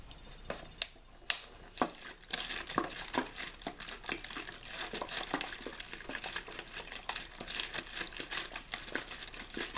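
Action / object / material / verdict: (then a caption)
scrape / thin plastic water bottle / plastic / none. A clear plastic water bottle with a blue label, hollow and mostly empty with possibly a little water left at the start, is held in one hand and squeezed and crinkled with the fingers. A few sharp, isolated crackling snaps come first, then from about two seconds in the bright crinkling turns dense and continuous until the end.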